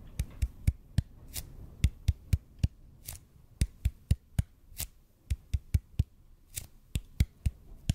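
Fingertips tap quickly on a large, hollow, red-and-white EPP bead foam roller held horizontally in front of the microphone. About 25 short, dull, low thuds with crisp bright click tops come at an uneven pace of roughly four per second, with a few softer, brushier taps between them. Each tap dies away almost instantly.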